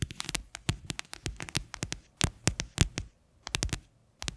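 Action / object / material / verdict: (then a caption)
tap / plastic container / plastic / none. Long fingernails tap and scratch the base of an upside-down, hollow, white faceted plastic container. The result is quick, uneven bursts of sharp, clicky taps, each with a bright high edge over a low hollow thump. Every tap dies away almost instantly, with brief pauses between the bursts.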